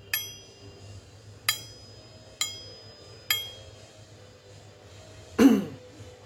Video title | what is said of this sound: Makna / Filosofi Keris Kebo Lajer Atau Mahesa Lajer | Besinya bunyinya nyaring sekali. Tingnya besi itu nyaring.